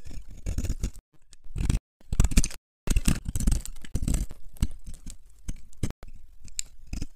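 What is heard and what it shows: A metal knife blade scrapes and scores the surface of a solid yellow bar of dry soap held in the palm, peeling off crunchy flakes. Dry, crackly scraping strokes come in bursts with brief pauses between them, with a low thud-like body under faint bright crunching detail.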